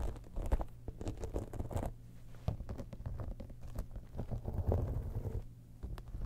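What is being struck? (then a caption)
Textured faux-leather cosmetic bag. A holographic textured faux-leather cosmetic bag, turned on its side, has its embossed side panel and top scratched by long nails. The result is a dense, muffled, low-pitched scratching and rustling with quick taps and bursts that rise and fall throughout.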